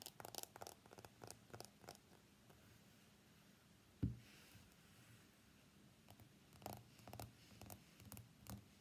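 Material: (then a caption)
Glass. An iPhone X is first held on its edge while fingernails tap its frame, then laid face up and tapped on its glass screen. Quick, light clicking taps come in scattered bursts over a quiet low hum, with one duller, louder knock midway through.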